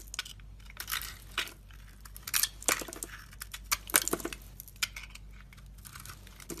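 A solid rectangular bar of soap, purple outside and white inside, is held in the hand while a metal box-cutter blade scrapes and carves thin shavings from it. The result is a run of crisp, bright scraping and crackling strokes over a faint low hum.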